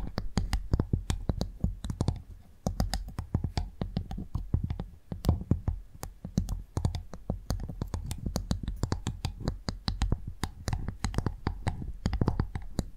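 A cleaned clam shell is tapped in quick succession, producing a steady stream of rapid, short clicking taps with a low, thumpy body. The taps come densely and unevenly throughout, each dying away almost instantly.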